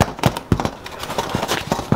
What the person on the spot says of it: give it a tap supposed to sound hollow